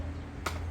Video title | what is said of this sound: 도어 트림 방진과 질량 유지_도어 트림은 스피커 인클로저의 중요한 일부 이다 Car Audio door trim dust and mass maintenance 스타렉스 밴 카오디오 | 떨어뜨렸을 때 오래된 것들은 맑은 소리가 나고